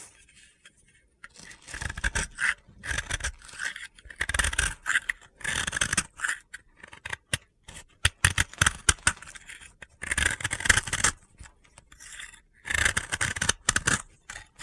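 A snap-off utility blade scrapes powdery layers off the surface of a solid, dry pink soap ball held in the hand. Bursts of dry, gritty, bright scraping alternate with brief quiet pauses, and a run of short sharp ticks is heard near the middle.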